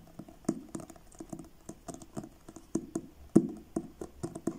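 Fingertips tap on the blue card cover of a paperback book, which is turned sideways at the end. There are about twenty short, dry, papery taps at an uneven pace, each with a low-mid body and a faint bright click that dies away almost instantly. One tap near the end stands out as clearly louder than the rest.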